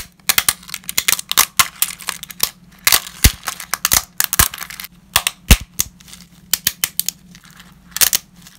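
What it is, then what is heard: Dry lasagna sheets snapping. Gloved fingers break uncooked ridged lasagna sheets into small shards over a growing pile. Dry, brittle snaps and sharp cracks come in quick irregular bursts, bright and crisp with almost no ring, over a faint steady low hum.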